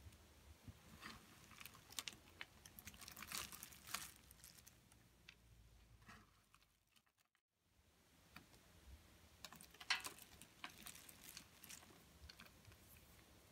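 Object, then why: Soap shavings. A pile of dry pink soap curls is held and crunched in the hands, then rubbed with the fingertips of a hand with short nails. The result is dense, bright, crackly crinkling and crunching with many sharp ticks, a brief near-silent pause just past the midpoint, and then the crunching resumes.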